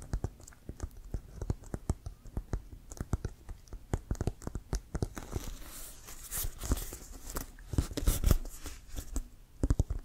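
Fingertips and nails tap a full-size, inflated, hollow brown Wilson composite leather American football with laces, held up in front. A quick, uneven run of short, dull, low thumps dies away almost instantly. Partway through, brighter scratchy, crinkling nail sounds join in between the knocks.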